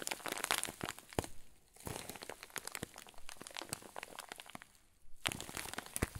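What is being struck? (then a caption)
Clear plastic zip bag with fluffy filling. Thumbs and fingers press and crinkle a clear plastic zip bag full of white fluff, held upright. Dense, bright crinkling crackles come in bursts, easing to quieter rustling twice before picking back up sharply near the end.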